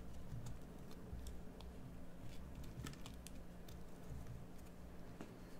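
A metal carving tool shaves a solid green bar of soap, producing quiet, soft scraping with faint, bright, crisp ticks scattered through. A steady low hum sits underneath throughout.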